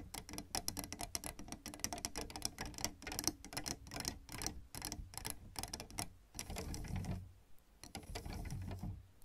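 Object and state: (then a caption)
Plastic keyboard keys tapped. Long red nails tap and scratch across the plastic keys of a piano keyboard, producing a rapid stream of sharp, bright clicks. Partway through, the tapping thins out and gives way to softer scratching swipes with a low, muffled rumble underneath.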